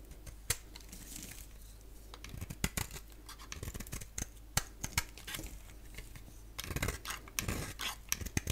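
A box-cutter blade scrapes and shaves a palm-sized solid oval bar of soap with a black shell and yellow interior, held in the other hand. Quiet, dry scratching and shaving strokes come with sharp clicks and snaps throughout, growing busier and louder near the end.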